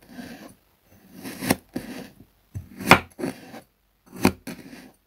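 A metal table knife slices repeatedly through a hand-sized solid slab of blue kinetic sand resting on a wooden board, giving soft grainy rasping strokes. The blade comes down onto the board three times with short, sharp chopping taps that die away almost at once.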